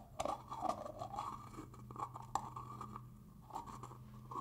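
Fingers scratch the ridged rim of a black plastic screw lid on a black plastic hair gel jar, then unscrew the lid. The result is a run of quick, dry scratches and sharp plastic clicks centered in the midrange, over a faint low hum.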